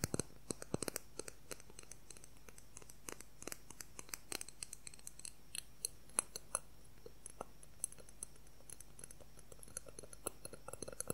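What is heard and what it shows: Fingernails tap and scratch rapidly along the length of a transparent plastic ruler, producing a quick, irregular run of sharp, bright clicks. Short scraping strokes run between the taps, over a quiet, steady low hum.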